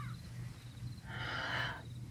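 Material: Nothing is struck.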